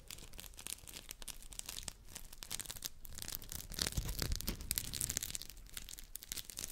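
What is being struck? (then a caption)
Textured polymer scrub sponges. Two identical round, hand-sized yellow textured polymer scrub sponges are rubbed and squeezed together with fingers close to the mic. This makes a dense, irregular stream of bright, scratchy rasping and crinkling strokes over soft low rumbles. The strokes grow louder and busier around the middle before easing slightly.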